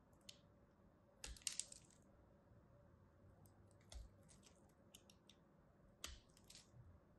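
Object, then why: Bar of soap scraped with a metal blade. A small metal craft blade scratches and cuts thin lines into the surface of a palm-sized, solid rectangular purple soap bar with white stripes, held in one hand. Quiet, bright, clicky scraping onsets come in scattered bursts, each dying away almost at once over a low, steady background hiss.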